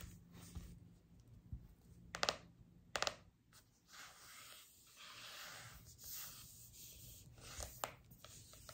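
Long acrylic nails tap and scratch across the glossy printed front cover of a large, closed hardcover cookbook with a laminated cardboard cover, lying flat on a table. Soft, bright scratching and rubbing hiss runs throughout, broken by pairs of sharp, dry clicking taps that die away almost instantly.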